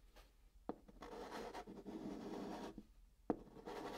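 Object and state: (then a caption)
Chalk writing on cardboard. A hand writes digits with a chalk stick on the flat top of a brown cardboard box, producing soft, dry scratching strokes that rise and fall in long rasping passes. Sharp taps mark where the chalk meets the cardboard, and the overall sound stays quiet and centred in the low-mid range.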